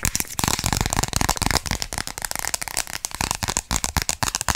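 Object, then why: Thin plastic card. A small, flat, thin pink plastic gift card with a ring logo is held in both hands and quickly tapped and scratched with long pink acrylic nails. The result is a rapid, irregular stream of sharp, dry clicks mixed with bright, crackly scratching. Each tap dies away almost instantly.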